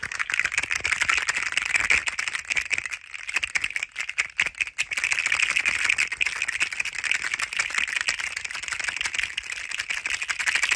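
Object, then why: Plastic coil spring toy. A hand-sized green and yellow plastic rainbow spring toy, a slinky-like hollow coil, is shaken and squeezed rapidly between both hands. It makes a dense, continuous stream of dry, bright rattling clicks centered around 2 kHz, with almost no low end. The clicks dip briefly around three to five seconds before the steady rattling resumes.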